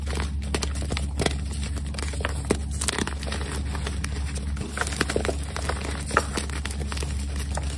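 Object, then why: Magnesium carbonate chalk block. Glitter-covered hands with pink nails squeeze and crumble solid white gym chalk blocks (magnesium carbonate) into powder in a dark round tray sprinkled with glitter. Many quick, dry crunches and crinkly crackles come over a steady low hum, with a few sharper snaps standing out.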